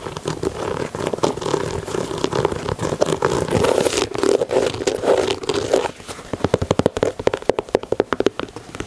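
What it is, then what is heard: Leather sneaker. Fingernails scratch and tap the heel collar and side leather of a white leather Air Jordan 4 sneaker. For about six seconds the scratching makes a dense, crackly rasp centered around 500 Hz; then it gives way to a quick run of crisp, separate taps with bright clicky edges.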